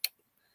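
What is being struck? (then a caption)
Lead and resin fishing spoon with glass rattle. A larger glass buckshot rattle spoon, a lead fishing spoon with a glass rattle encased in resin, is shaken to show off its rattle. One sharp, bright click stands out, followed by a couple of faint ticks. The click is high and glassy with almost no ring.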